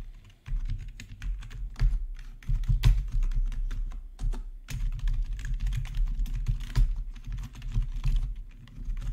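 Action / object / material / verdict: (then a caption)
tap / plastic computer keyboard / plastic / none. Both hands type with their fingertips on a black plastic RGB backlit gaming keyboard, producing a rapid, uneven run of short, dry key clicks with bright ticks. The clicks sit over a steady, dominant low hum that drops out briefly near the start and again around the middle.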